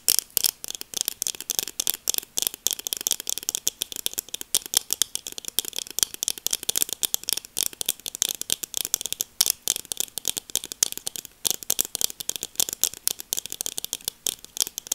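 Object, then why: Plastic sunglasses frame and lenses. Long nails on both hands tap rapidly across the frame and lenses of a pair of black plastic sunglasses. The result is a dense, continuous stream of short, dry, bright clicks with almost no ring, centered around 3.2 kHz and with no low end.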